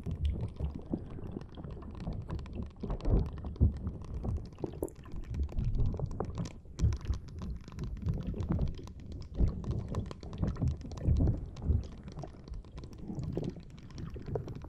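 Long painted nails scratch and squeeze a fist-sized, green, soft rubber spiky ball while fingers rub its tentacles just above the recorder. The result is a dense stream of soft, muffled squishes, rubbery rubs and quick crackly taps, mostly low and thumpy, with a few slightly louder squeezes.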